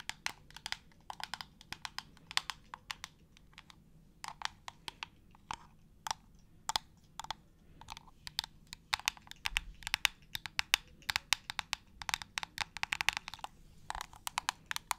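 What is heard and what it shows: Long acrylic nails tap quickly all over the hollow white plastic trigger head and shroud of a clear plastic spray bottle. The result is a rapid, irregular stream of dozens of sharp, bright plastic clicks that stop dead with no ring, over a quiet low background.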